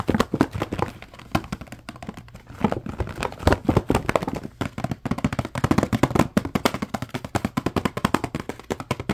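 Fingertips tap and scratch the sides of a small green printed cardboard furniture care kit box, hollow with contents inside. Dozens of quick, dry taps come in irregular bursts, low and hollow-sounding with almost no ring, mixed with soft scratching between them.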